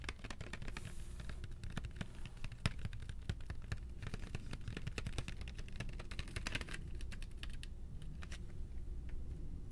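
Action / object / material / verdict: tap / box of colored pencils / unknown / none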